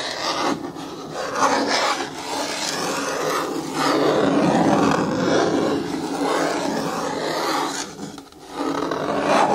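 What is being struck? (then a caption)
Hard plastic bin with lid. A long fingernail scratches the side wall and lid rim of a hollow, hard, green plastic bin with a lid while the other hand rests on the lid. The result is a continuous, raspy scraping with a mid-range hollow resonance, rising and falling in waves, with a brief dip near the end before it picks back up.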